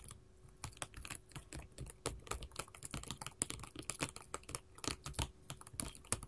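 Long pointed gold metal filigree finger-claw jewelry worn on both hands taps quickly and irregularly across a flat sheet of small square glass mosaic tiles in pink, orange, yellow and clear, lying on a table. Each tap is a short, dry, bright click with almost no ring, and the overlapping taps form a soft, steady clatter much like fast typing on a keyboard.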